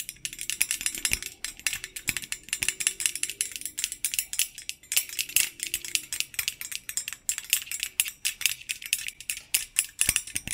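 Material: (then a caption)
Stainless steel. Fingertips wearing metal thimbles tap and rattle along the wire bars of a medium, hollow stainless-steel wire basket held upright behind the microphone. The result is a rapid, continuous stream of bright, dry metallic clicks and jingly rattles with almost no low end. Each tap dies away almost instantly.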